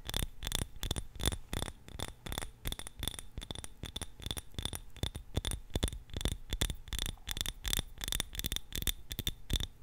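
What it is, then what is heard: Glass candle jar. A small glass candle jar filled with purple wax is held in both hands and rapidly tapped and scratched with long nails. The result is a quick, irregular stream of sharp clicks with a faint bright ring and light scraping between them.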